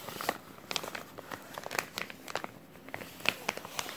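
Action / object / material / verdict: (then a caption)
scrape / thin plastic zip-lock bag / plastic / none. A small, thin clear plastic resealable zip-lock bag with a green tab is held in both hands while fingertips crinkle and crumple it. The result is a quiet, irregular run of sharp, bright crackles and snaps over a soft hiss, with almost no low end.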